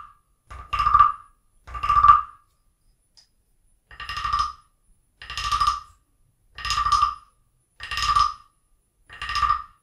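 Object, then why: Carved wooden frog guiro scraped with a stick. A wooden stick scrapes and taps along the ridged back of a small, hollow, carved wooden frog guiro percussion toy resting on an open book. The clip is a series of short, evenly spaced, croaking rasps with a woody tone centered around 1.2 kHz and a bright upper edge. Each rasp stops quickly, leaving near silence between strokes.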